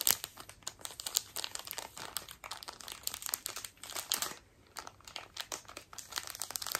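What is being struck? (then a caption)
Thin plastic wrapper. A small, flat, hollow pink printed plastic package is held in one hand and squeezed and crinkled with long acrylic nails close up. Dense, bright crackling and crinkling runs throughout, with a brief quieter pause partway through.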